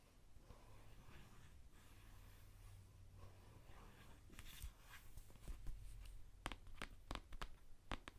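A hand-sized, hollow white Dove plastic deodorant stick is held in one hand and scratched and tapped with long painted nails. Soft, faint scratching over a low hum fills the first half, then sharper, bright clicking taps follow toward the end.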